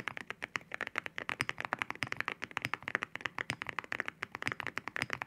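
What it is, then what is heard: Mechanical keyboard with ceramic keycaps. Fingertips type on a mechanical keyboard with ceramic keycaps, making a rapid run of about 35 sharp, dry, clacky taps with almost no ring. The clicks have a bright, glassy tone that centres around 1.8 kHz, with little low end.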